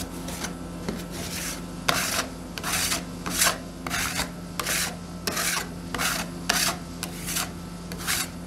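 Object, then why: Metal spatulas scraping a stainless steel cold plate. Two metal spatulas with yellow-black handles scrape and chop across a thin frozen layer of red soda ice cream on a large, flat stainless steel ice cream roll pan. About 13 bright, rasping scrapes come in an uneven rhythm over a steady low hum.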